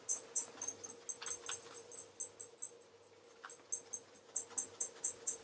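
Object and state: Leather loafer being polished.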